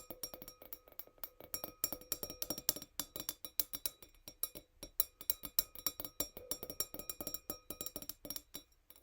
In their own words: Sound of tiny wine glass 🍷 | gentle nail tapping